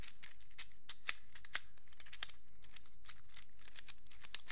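A small, hand-sized black plastic fidget infinity cube made of hinged hollow blocks is held in both hands and flipped and folded with the fingertips, so the blocks click against each other. The result is a quiet, irregular run of short, bright plastic clicks and taps, with a few sharper clicks standing out over a faint low background hum.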